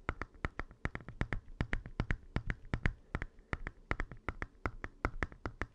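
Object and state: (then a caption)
Plastic handheld game console, fingernail tapping. Fingernails of both hands tap rapidly on the plastic screen cover and bezel of a small, hollow red Game Boy Advance SP, which is open with its screen off. About 33 sharp, dry clicks come in a quick, uneven rhythm, each with a bright tick over a soft hollow low knock that dies away almost instantly.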